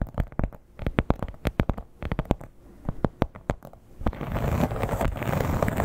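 Long nails tap and scratch across the scales of a flat red croc-embossed leather clutch. A quick series of dry, sharp taps with brief pauses gives way after about four seconds to a louder, continuous scratchy rasp across the textured surface.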